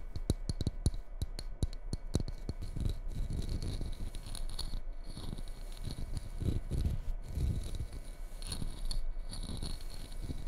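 A small red ceramic mug with a white snowflake pattern, hollow, empty and held upside down, is tapped and scratched on its outer wall and base by long red-painted nails. A quick run of sharp, dry taps in the first couple of seconds gives way to continuous low, rustling scratching with occasional taps, all close and quiet.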